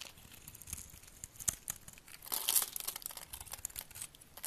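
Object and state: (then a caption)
Glycerin soap bar being scraped. A solid amber translucent glycerin soap bar, held in the hand, is scored and scraped with a utility knife blade, with flakes falling off. The quiet, bright, crisp scratching and crinkling rasps come in quick irregular strokes, with a louder, denser scrape burst near the middle. There is almost no low end.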